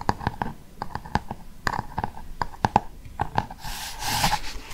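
Fingernails tap and scratch the glossy cardboard cover of a large, solid Cath Kidston hardcover book. About fifteen short, dry taps carry a hollow tone near 840 Hz and die away almost instantly. The tapping ends in a stretch of bright, hissy scratching across the cover.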